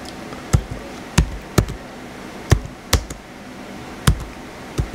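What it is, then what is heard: Plastic laptop keyboard being typed on. Fingertips type lightly on the white plastic keys of a small blue plastic HP laptop. The result is sparse, dull, low taps with short, dry clicks, spaced irregularly over a steady low background hiss.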